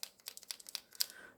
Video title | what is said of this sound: MOLOTOW versus TOOLI-Art paint markers Part2 | So you have to shake it. You can hear the ball rolling.